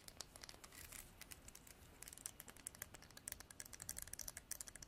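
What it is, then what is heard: Horn comb. Long black nails strum and scratch the teeth of a translucent amber comb, probably horn, and tap its body. A rapid run of quiet, bright, crisp clicks and scratchy rasps comes with dry, short ticks and no ring.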